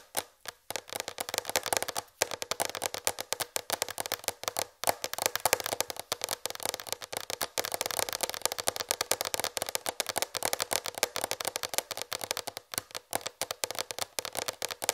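Long red fingernails tap rapidly on a large white plastic tray held up at eye level. The result is a dense stream of short, dry clicks with a bright, hollow plastic tone, almost no low end, and very little ring.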